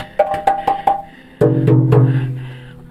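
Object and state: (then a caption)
Hollow cave rock. Rock in Goa Gendang ("drum cave") is struck, including with a bare hand, giving four quick, higher-pitched hollow knocks followed by three deeper drum-like booms that leave a low ringing tone. The rock sounds hollow, booming like a drum because of a wide, water-filled cavity beneath it.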